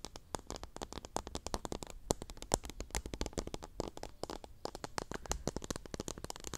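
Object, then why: Plastic cup packed with cotton swabs. Long nails scratch and flick across the tips and stems of teal cotton swabs packed full in a small clear pink plastic cup, held close to the mic. The result is a rapid, continuous stream of dry, crackly clicks and scratches, each very short with no ring, spread from a soft low rumble up to bright, high ticks.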